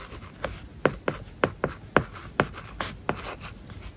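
A plastic stylus writes words on an iPad screen covered with a matte paper-like plastic film. Soft scratching strokes are broken by short, dry taps, with about nine distinct clicks standing out in a quiet, close space.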